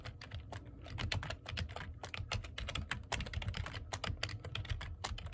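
Fingertips type fast on the keys of a black plastic computer keyboard, producing a dense run of quick, bright clicks and clacks with very short decay. A steady low rumble sits beneath the typing throughout.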